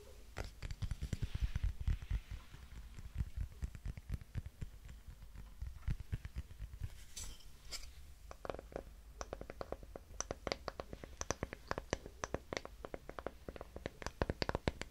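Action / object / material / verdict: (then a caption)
tap / small wooden hexagon block / wood / none. Long fingernails tap and scratch a small, light, solid pine-like wooden hexagon block held in the hands. The result is a steady stream of dry, quiet clicks and scratchy rustles with a dull, low-heavy body and almost no ring, and the tapping grows sharper and more distinct in the second half.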